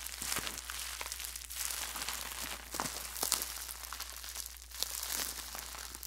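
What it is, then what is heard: Plastic bubble wrap. A small wad of clear plastic bubble wrap, held in both hands close to the mic, is crumpled and squeezed with the fingertips. It makes a dense, bright crinkling and crackling with scattered sharper snaps, over a faint steady low hum.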